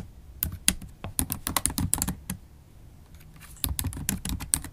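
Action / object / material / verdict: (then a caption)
tap / laptop keyboard with plastic keys / plastic / none. Fast typing with long acrylic nails on a MacBook Pro keyboard, its black plastic keys set in an aluminum laptop body. Quick, dry clicks and taps come in bursts with bright nail ticks over a soft low thud, and a short quieter pause falls in the middle before the typing picks up again.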